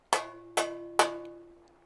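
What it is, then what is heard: Undamped sheet metal panel, resonant. A square of bare, undamped sheet metal cut from a van's window panel is tapped three times. Each tap gives a tinny, bell-like ring around 600 Hz that echoes and lingers, unlike a square backed with sound-deadening mat.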